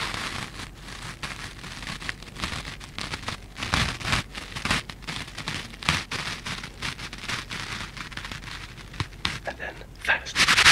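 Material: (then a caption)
Foam. A pair of yellow foam sponges with green scrub pads is squeezed and rubbed together with the fingertips close to the mic. It makes a dense, bright, crackling rustle, like rain on a surface, with quick scratchy bursts that swell louder near the end.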